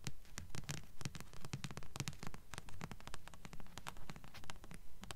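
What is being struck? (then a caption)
Paperback book with paper cover. A thick blue Black Jewels paperback with a paper cover is held upright while fingers and nails rapidly scratch and tap its cover. The result is a quick, fairly steady patter of short, dry taps mixed with scratchy rustling, carrying mostly low, dull thumps and brief bright clicks that die away almost instantly.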